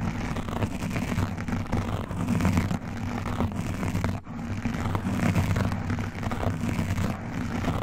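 Both hands rub and scratch fast over a black foam windscreen on a microphone, using fingertips and metal rings. The result is a dense, continuous scratchy rumble, heavy in the low end, with a brief dip just past four seconds.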